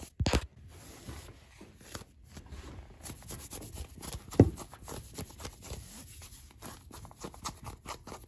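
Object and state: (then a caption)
Denim jeans being scratched. Fingertips and nails scratch and rub blue denim jeans worn on the leg, over the soft fabric of the thigh and a frayed, ripped area. Quiet, dull scratching and rustling continue throughout, with a sharper louder scrape near the start and another midway.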